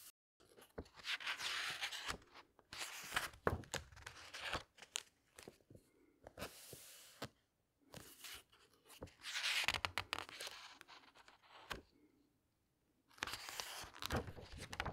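Fingertips and long nails turn the thick glossy paper pages of a large hardcover book and rub them flat. Bright, crinkly rustling swishes come in bursts, with soft taps and scratches between them and brief quiet pauses.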